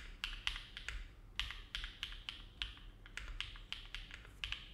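A compact Neo70 mechanical keyboard with an aluminum plate, foam dampening and dark GMK plastic keycaps rests on a desk mat while the fingertips of both hands type on it continuously. About sixteen bright, clacky keystrokes come at an uneven, unhurried pace, each with a short high ring near 2.8 kHz that fades quickly. A faint low rumble sits underneath.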